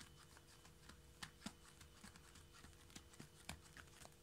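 Fingertips and nails of both hands, spread flat on the boards, tap quickly across a solid hardwood floor. The result is a fast, continuous patter of short, dry ticks and soft knocks, with a few louder taps standing out. Each tap dies away almost instantly.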